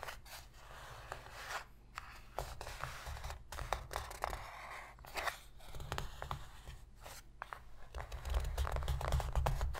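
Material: Cardboard.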